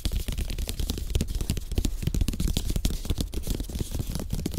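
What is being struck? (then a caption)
Slatted bamboo placemat. Fingertips tap fast across the slats of a flat, thin, solid slatted bamboo placemat, possibly with some light scratching. The result is a steady stream of quick, dull, low-heavy taps that stop almost instantly, with a faint crisp edge on top.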